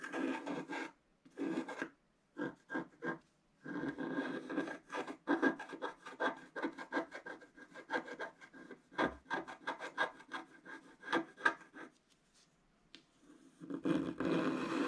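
A wooden stylus scratches strokes across a black-coated scratch-art paper page, on the right side and in the centre. Dry, raspy scratching comes in short, irregular bursts of quick strokes, broken by brief pauses. It ends with a longer, steadier rub.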